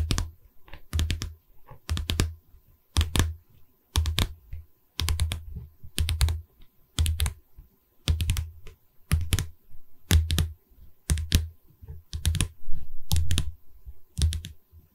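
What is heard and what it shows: Long red nails rapidly tap the top wooden edge of a hollow pine canvas stretcher frame held upright. Quick clusters of clicky taps come in bursts about once per second, each with a low, hollow wooden thump under bright nail clicks that die away almost instantly. Quiet gaps separate the bursts.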